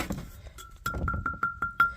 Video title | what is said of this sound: CEMETERY RESTORATION | if they don't have that effect of Fine Crystal when you knock on it uh you got a crack in them need to send them back